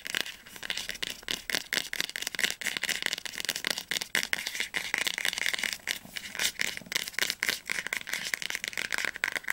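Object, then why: Hardcover book spine. Fingertips and nails tap rapidly on the spine of an orange hardcover copy of "Flammender Zorn," a solid book held upright. The result is a dense, continuous stream of dry, bright clicks and taps centred around 2 kHz, with almost no low end and no ring after each strike.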